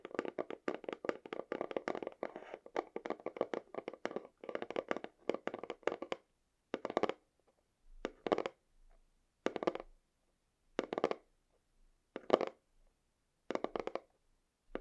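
Long fingernails tap on the front face of a small white cardboard camera battery box held in both hands. Quick, dry, hollow taps centered in the mids come in a fast continuous flurry for about six seconds, then in short separate bursts with pauses between them.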